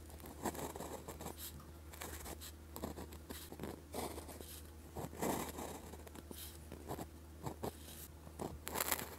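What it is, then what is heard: Gel pen writing on a paper practice sheet. The plastic tip of a gel pen scratches Chinese character strokes onto a red-grid paper practice sheet, giving quiet, short scratchy strokes with bright, dry edges and pauses between them. A steady low hum runs underneath throughout.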